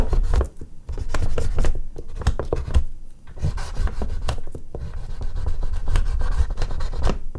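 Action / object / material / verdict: scrape / oil pastel on artist's paper / paper / none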